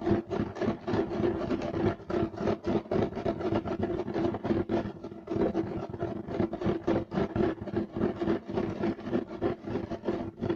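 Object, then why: Woven fiber carpet. Clawed fingertips scratch quickly and aggressively across a beige striped woven fiber carpet. The result is a fast, uneven run of short, rasping strokes with a coarse, mid-heavy texture and a faint steady tone underneath.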